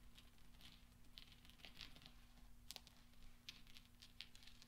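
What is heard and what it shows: Fingernails and fingertips tap and roll small solid steel pachinko balls into each other on black velvet. Quiet, bright metallic clicks and ticks come in irregular clusters, each dying away almost at once. Beneath them runs a steady low hum.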